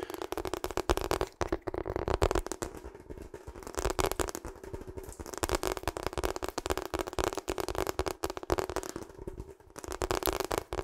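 Long acrylic nails rapidly tap and scratch across the textured surface of a hollow, seemingly empty, pink-purple ribbed rubber hot water bottle. The result is a dense, continuous crackling patter of quick clicks and scrapes that swells and eases in waves, with a steady low-mid resonance underneath.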